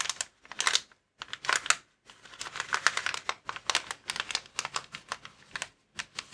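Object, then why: Plastic inflatable air column cushion. Fingertips and nails scratch and tap a clear plastic inflatable air column cushion bag resting on a table. Bright, dry crinkling and clicky taps come in quick clusters, broken by short silences, with almost no low end.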